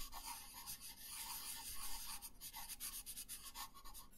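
A colored pencil shades a thin paper coloring page lying on a wooden table, making soft, steady rubbing strokes. The quiet, hissy scratching repeats in quick back-and-forth passes with a faint mid-range tone.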